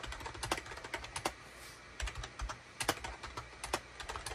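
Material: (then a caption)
Plastic. Fingertips of both hands type rapidly on a full-size gray, cream and orange SHIPADOO K600 wired USB plastic keyboard with a hollow plastic housing, resting on a desk mat. The result is a quick run of sharp, bright plastic key clicks with short dull thuds underneath, broken by a brief pause near the middle.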